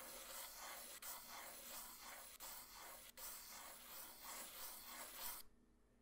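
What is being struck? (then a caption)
Graphite pencil on a paper drawing sheet. A graphite pencil with a black wooden body, held by hand, sketches circle outlines on a flat white paper drawing sheet resting on a hard surface. The clip is a steady, bright scratching and rubbing texture with rhythmic swells, broken by three brief gaps where the pencil lifts. The sound stops abruptly near the end, leaving faint low hiss.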